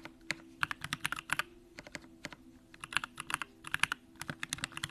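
Fingertips of both hands type continuously on a compact Bakeneko65 mechanical keyboard with an aluminum case, pink plastic keycaps and Durock lavender switches. The result is a quick, uneven run of about 29 short, bright keystroke clacks with almost no ring, over a faint steady low hum.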